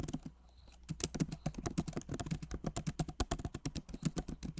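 Both hands type rapidly with fingertips on a backlit MacBook Pro Magic Keyboard, plastic keycaps set in an aluminum body. After a brief lull near the start, a dense stream of soft, short key taps follows, each a dull low click with little brightness and almost no ring.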